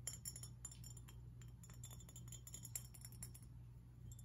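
A glass fish figurine is tapped and scratched, giving quick, bright clinks and chime-like glassy ticks that die away almost at once. The taps come in a busy, irregular stream over soft scratching, with a steady low hum underneath throughout.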